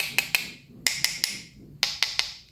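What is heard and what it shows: Eight sharp, bright taps on the body of a budget DZ Crossfire spinning reel, grouped in pairs and threes, click like a wood block with a short high-pitched ring. The reel body sounds solid.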